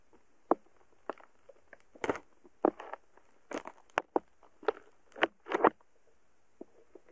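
A thin wooden stick pokes and taps repeatedly at a solid, soft mound of purple slime packed with tiny polystyrene foam beads in a small cup. Each contact gives a short, quiet, crackly popping burst with a bright edge, spaced irregularly with near silence between.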